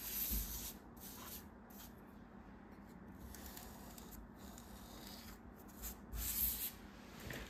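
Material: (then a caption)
Kinetic sand. A bare hand and forearm rub and press across a large, flat, solid slab of pressed kinetic sand with green and pink halves, lying on a white table. The result is a quiet, steady gritty rustle with soft low rumbling underneath. Brighter, hissy scraping swells come at the start and again near the end.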